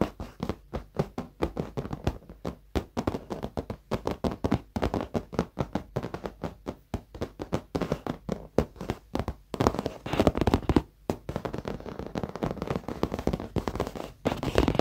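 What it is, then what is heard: Leather office chair seat. Fingertips and short nails of both hands tap quickly on the seat of a dark, padded leather office chair, soft over foam. The taps are dull, soft thuds with little brightness and almost no ring. They come in a rapid, uneven patter of dozens of strikes, growing denser and more continuous in the second half, with brief gaps near 11 and 14 seconds.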